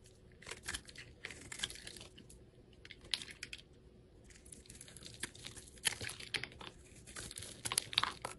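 A craft knife blade scrapes across a small, solid, translucent red soap bar held in the hand, shaving off thin flakes. The scrapes come as a quick, uneven run of dry, crisp, crackly rasps with a bright, high hiss. There are short quiet gaps between bursts.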